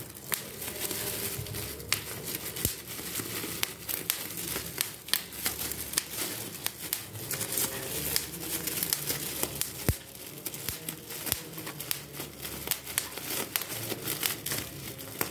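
A large, clear plastic sheet of air-filled bubble wrap is crumpled while its bubbles are popped with fingertips. Many sharp, bright pops burst out of a steady crinkling rustle, each snapping off almost instantly.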